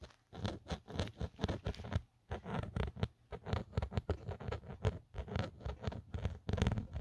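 A fingernail scratches the embossed logo and the edge of an empty black Otterbox phone case with a textured plastic back. A rapid series of short, dry scratching strokes comes in bursts with brief pauses, dull and low-heavy, with no ring after each stroke.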